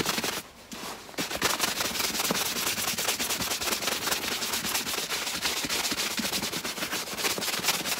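A dry, tan leather knee-high boot, hollow and empty and held upright in one hand, is brushed briskly back and forth with a wooden-backed bristle shoe brush. Rapid, bright, scratchy strokes run almost continuously, with a brief lull near the start.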